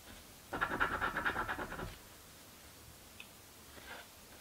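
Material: Paper.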